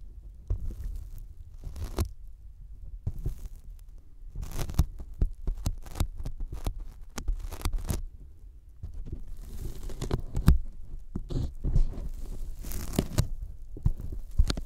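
Sticky fingertips of both hands tap a thin white closed-cell polyethylene foam sheet resting in front of the microphones. The taps come as quick, uneven clusters of soft, low, dull thumps, each with a brief bright sticky crackle as the fingers lift away. The pattern continues irregularly throughout.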